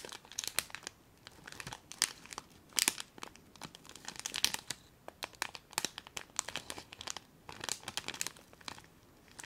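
A small clear plastic bag full of colourful foil confetti is crinkled and scrunched between fingers and long nails close to the microphone. Dense, bright crackling and crisp crinkles come in quick irregular bursts, with almost no low end. The sharp clicks stop at once, with no ring.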